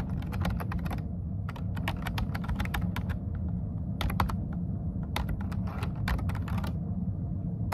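Fingertips tap the dark keycaps of a plastic computer keyboard, first with one hand and then with both. Quick bursts of bright, crisp key clicks come in runs with short pauses between them. A steady low rumble sits underneath throughout.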